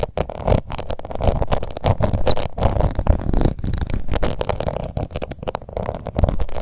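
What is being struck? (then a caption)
Plastic face powder compact. Long nails scratch across the embossed lid of a small round pink plastic face powder compact. The result is a dense, uneven run of dull scratching and crackling with rapid bursts and brief dips. The sound is heavy in the low end with almost no bright edge.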